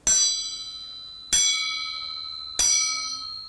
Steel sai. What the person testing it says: If you tap, you can hear a very keen noise. That's the way you find out good quality of steel or not.